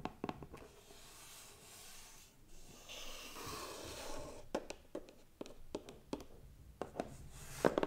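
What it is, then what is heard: Hollow cardboard gift box. A medium, hollow, closed white cardboard gift box decorated with gold stars is tapped on its lid and side with fingernails and fingertips. Short, dry, crisp taps come in quick clusters, broken by a softer stretch of light scratchy brushing in the middle. The box gives a faint, hollow papery knock with almost no ring.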